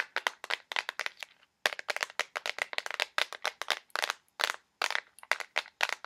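A small clear plastic box filled with colored push pins is tapped rapidly and aggressively with fingernails. About thirty sharp, bright, clicky taps come in quick bursts with almost no low end, each dying away at once, with a brief silent gap near the middle.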